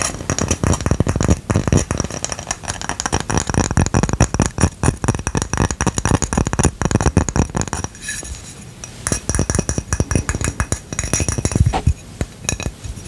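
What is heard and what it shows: Rapid tapping and scratching on a ceramic coaster, with dense, quick clicks and a glassy clink layered over a low, thumpy body. The sound shifts around the middle to sparser, sharper taps and scrapes, and scratching at certain angles can turn into a screech.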